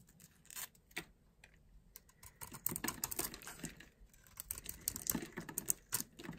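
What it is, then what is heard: Dry soap bar. A small blade scrapes a solid oval bar of dry soap with a purple outer layer and a green core, held in the palm. Quiet, crisp crunching and scratching strokes come in quick, uneven bursts, bright and dry with no ringing after each scrape.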